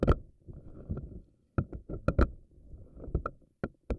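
Fingernails stretch and pluck the rubbery strands of a pink silicone spiky anemone ball. Low, squishy rubbery rumbling is broken by sharp, bright snaps as the strands are released.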